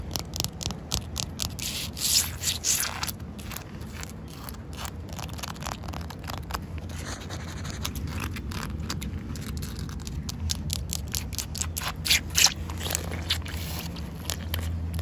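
Long acrylic fingernails scratch across solid, wet concrete paving slabs with joints between them, making rapid, irregular bright scraping and rubbing strokes. Rain patters steadily underneath as a low, constant wash.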